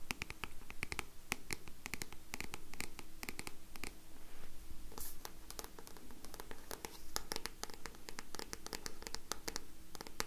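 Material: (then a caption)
Card. Long nails scratch and tap the card back cover of a solid black paperback book. A rapid run of many short, dry clicks and scratches is heard over a low, steady hum. The taps end almost instantly with no ring.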